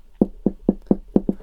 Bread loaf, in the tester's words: il est creux il sonne creux et donc normalement ça devrait être cuit